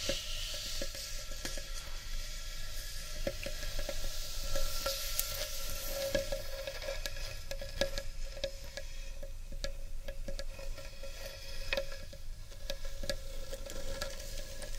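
Long painted nails scratch the rim and inner surface of a large, empty, rough-edged hollow carved wooden bowl. The result is a steady, dry, sizzling scrape with many sharp little clicks, bright hiss on top and a faint sustained hum underneath.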